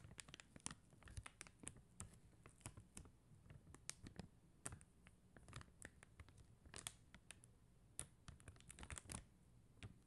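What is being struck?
Sheet of faceted plastic gem stickers.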